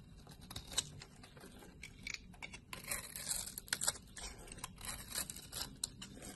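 A solid light blue bar soap held in the palm, with long nails visible, is cut and scraped with a blade, slices coming off and shavings lying around it. A series of short, crisp, bright slicing and scraping strokes sounds at a quiet level, with each stroke dying away almost at once.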